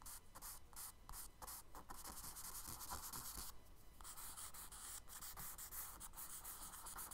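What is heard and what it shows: Fingers rub and smudge a tan kraft paper sketchbook page resting on a dark table, then a charcoal stick scratches strokes along the drawn water lines. The only contact is with the paper surface, giving soft, dry, bright scratching and rubbing in a steady run of short strokes with quick gaps between them.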